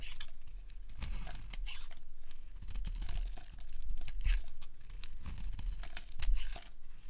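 A solid rectangular beige bar of dry soap, held in hand, is carved with a metal utility blade, and long curls are scraped off. Crisp, dry scraping and crumbly crunching strokes repeat in close succession, with bright brittle crackle over a low, dull rumble.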